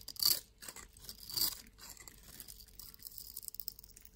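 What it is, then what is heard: Bar of soap being shaved. A solid brown soap bar held in one palm is scraped and shaved with a yellow-handled utility knife blade, sending soap crumbs falling off. Bright, crisp scraping strokes come through, with two louder shaving passes early on followed by a softer, steady run of fine scratchy scrapes.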